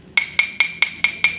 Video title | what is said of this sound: bunyi, sumber bunyi dan media perlambat bunyi. (kelas 4 subtema 1 Pembelajaran 3) | contohnya gelas adalah benda padat dan ketika berketukan maka dia akan merambat dan terdengar oleh telinga kita